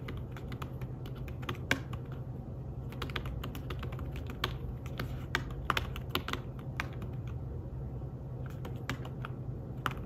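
Fingertips type rapidly on a thin, flat, grey fabric-covered folio keyboard for a tablet, producing a steady stream of soft, short clicky taps with occasional sharper, brighter keystrokes. A constant low hum sits beneath the quiet, dry tapping throughout.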